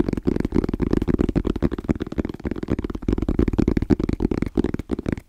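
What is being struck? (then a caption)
Molded hard-shell EVA zipper case. Fingertips tap quickly and rhythmically on a small, rigid, hollow black molded EVA case with orange zipper trim, held in both hands. The taps are dull, hollow, low-to-mid thuds with almost no bright content. Each one dies away almost instantly, making a dense, steady patter.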